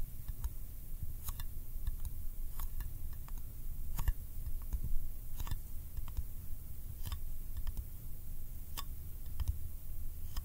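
A small round yellow metal candy tin is held in one hand while a fingertip makes sticky taps on its lid and edge. Short, bright, tacky clicks come at an irregular pace and die away almost instantly, over a steady low rumble.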